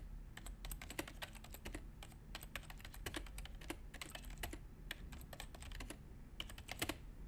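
Both hands type continuously with their fingertips on a full-size white plastic Apple A1048 keyboard resting on a desk. The result is a quick, uneven run of short, crisp key clicks and taps, each dying away almost at once, over a steady low background hum.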